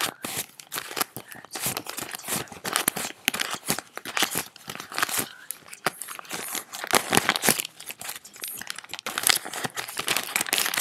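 A stack of paper US dollar bills is held in both hands, crinkled and rubbed between fingers with long nails, then sorted into a neat pile. The clip is a dense stream of crisp, bright crinkling and rustling bursts with almost no low end and no ringing after each burst.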